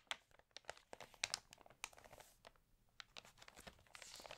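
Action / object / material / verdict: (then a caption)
scrape / glossy paper magazine pages / paper / none. Fingertips and long nails rub and flip the thin pages of an open, water-damaged glossy-paper magazine. The result is a quiet run of sharp, bright crinkles and crackles that stop dead with no ring, scattered unevenly over a soft papery hiss.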